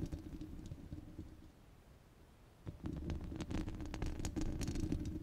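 Long red glitter nails scratch and tap across a rounded, hollow steel wire-mesh microphone grille, making a dense, low rumbling scrape with occasional bright ticks. The scratching thins out and quiets for about a second in the middle, then returns louder and busier, with rapid, irregular taps and crisp clicks over the low rumble.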